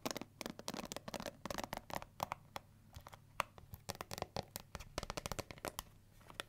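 Long nails flick the black pins of a pink plastic paddle hair brush, then tap and scratch its smooth, hollow pink plastic back, which bears a gold S logo. The result is a quick stream of sharp, dry clicks and ticks with bright, crackly scratching and almost no ring between them.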